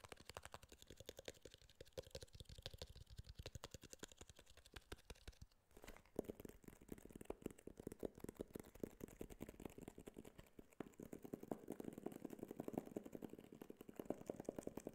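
Fingertips and nails tap rapidly on a small, closed white cardboard iPhone box with a glossy printed front, held in the hand. The result is a dense stream of dry, quick clicks with a hollow, boxy low-mid tone, a brief lull just before the six-second mark, and fuller, more resonant tapping toward the end.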